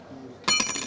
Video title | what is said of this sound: Star Ana Haber - 15 Eylül 2024 Pazar | sesini dinleriz Bakın bu altın Şu tınlama sesi var